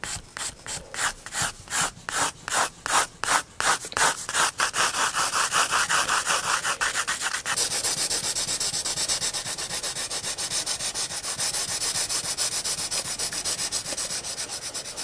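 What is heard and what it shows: A pencil hatches and shades on a paper sketchbook page, rubbing in quick back-and-forth strokes. The first few seconds are separate, slower scratchy strokes with short gaps. The strokes then speed up into a dense, steady, bright rasp with almost no low end.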